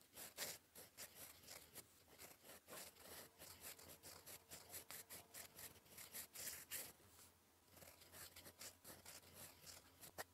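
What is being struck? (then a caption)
Metal pen nib on paper sheet. A gold metal fountain pen nib, held in the fingers, scratches across a flat sheet of cream lined paper on a desk while writing cursive. Quiet, bright, dry scratching strokes come in quick, uneven bursts, with a brief lull near the end before the writing resumes. A faint steady low hum sits underneath.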